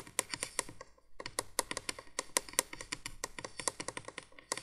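Long nails tap rapidly on the hollow base of a plastic window candolier, a 1980s window light. The clicks are quick, sharp and bright with almost no ring, and they come in an uneven stream with a brief pause near the one-second mark.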